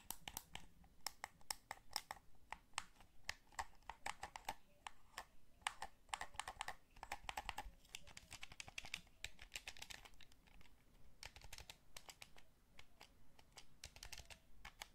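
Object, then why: Plastic game controller. Thumbs press the sticks and fingertips tap the face buttons of a hollow, black Sony DualShock 3 plastic controller. Quick, sharp, bright plastic clicks and taps come in a steady, irregular patter, each dying away almost instantly over a faint low rumble.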